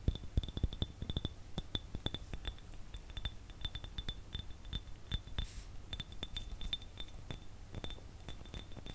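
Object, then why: Glass jar tapped with fingernails. An empty clear glass jar, held close in front of the mic, is tapped with fingernails in a quick, irregular stream of light clicks. Each tap is short and dry, with a faint high glassy ring over a low background rumble.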